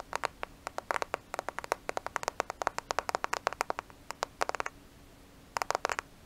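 A thin, flat black smartphone with a glass screen and plastic case is held in both hands in front of a microphone and tapped and scratched with long nails. Many sharp, dry clicks come in quick irregular bursts, with a short pause before a final cluster, set against a low steady hum.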